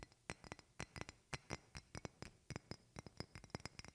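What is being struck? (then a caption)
Glass perfume bottle. A medium rectangular glass perfume bottle with a flower decoration is held near the mic and tapped with long painted fingernails. It gives clear, bright glass clinks that die away almost at once, in an uneven run of about twenty taps, some louder and some softer.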